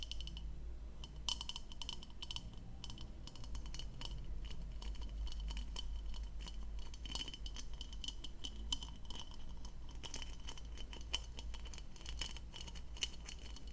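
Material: Plastic.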